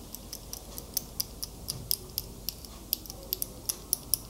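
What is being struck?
Metal wristwatch with link bracelet.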